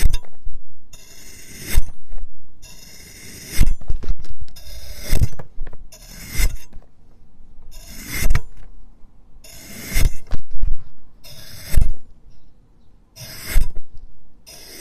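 A large steel knife slices pieces off the top of a solid pink speckled cone of packed kinetic sand resting on a green plastic board. Each cut gives a gritty, bright rasping scrape that ends in a dull low thud as the blade meets the board, repeating at a steady pace with short quiet pauses between strokes.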